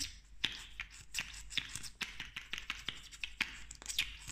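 A slim pink plastic lip gloss tube with a metallic cap is tapped and scratched with long nails. There are quick, sharp, bright clicks and ticks over a soft scratching hiss, with very short ring and little low end, in a fast, irregular rhythm.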